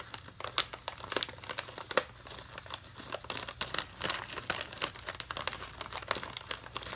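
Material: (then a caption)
Plastic foil. A full plastic foil bag of Navratan mixture snack, held in one hand, is scratched and tapped with a metal pen tip. Bright, crisp crinkling and scratching mix with quick, sharp ticks that fade almost instantly. The sound is thin and high with almost no low end.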